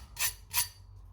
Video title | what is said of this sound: Crispy Homemade Hash Brown @HugoandDaddyCooking | Perfectly crispy and they are not soaked in oil